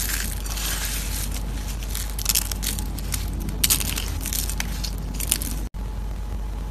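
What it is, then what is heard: Dry soap curls crushed by hand. Crumbled orange dried soap shavings on a plate are pressed and crushed with fingers and palm. The result is a continuous dry, bright crunching and crackling with a steady low hum underneath, a few sharper crackles standing out, and a brief dropout near the end.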